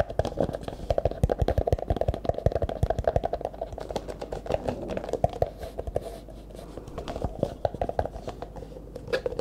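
An empty, hollow clear plastic cup held sideways is tapped and scratched with the fingertips. Rapid, dry taps carry a hollow ring in the upper midrange over a steady scratchy rustle, easing off briefly before quick tapping resumes.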